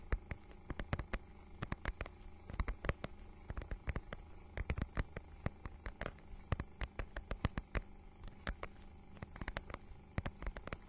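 Long nails scratch and tap a small book's holographic, scale-textured faux-leather mermaid-scale cover, held in both hands in front of the mic. A quiet, steady stream of short, dry clicks and soft scrapes with a dull, low-heavy body and almost no ring.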